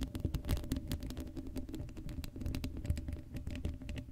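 Long acrylic nails scratch the hollow black steel mesh grille of an uncovered Blue Yeti microphone, producing a dense run of quick, crackly scratches and taps. The close, quiet sound is heavy in low thumping rumble, with brief bright clicks.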